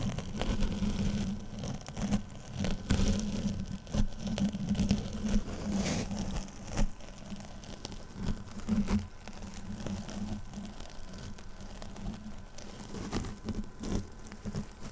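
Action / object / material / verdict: scrape / foam kitchen sponge with scouring pad / foam / none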